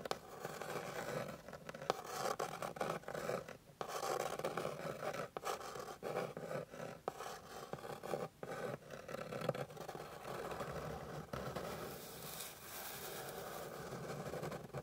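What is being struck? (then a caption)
Wooden board scratched with fingernails. Long pink fingernails scratch and rub across the surface of a solid, flat, light wooden board with visible grain. The result is a steady, dry rasping texture of close scraping strokes, centered in the midrange with brief pauses between passes. A brighter, airier scrape comes in near the end.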